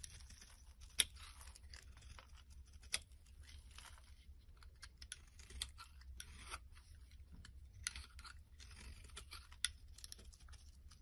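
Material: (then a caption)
Soap. A small black blade scrapes and shaves the top edge of a solid orange soap bar with white stripes held in the palm. Soft, dry, bright shaving and crunching runs throughout, punctuated by a few sharper, crisp clicks over a faint low hum.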